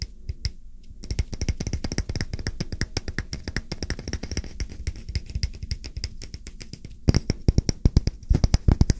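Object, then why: Round wooden coaster. A solid round wooden coaster held flat in one hand is tapped rapidly on its face with fingertips and short nails. The taps come as a fast, uneven stream of dry, short knocks, mostly deep and thumpy with faint bright clicks. They grow louder and sharper in the last two seconds.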